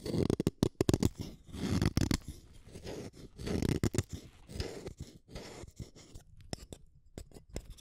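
A solid blue wooden colored pencil is shaved with a small metal blade in a yellow holder. It makes a run of quick, dry scraping strokes, each with a soft, low, rough body and a brief crisp edge. The strokes come in dense clusters and then thin out into sparser, lighter scrapes.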